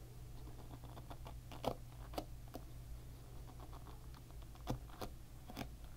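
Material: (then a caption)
Plastic. Fingertips and nails scratch and flick the plastic pins of a hairbrush up close. Sharp, bright ticks and snaps rise over a steady low hum, with a few louder flicks standing out from the soft patter of scratching.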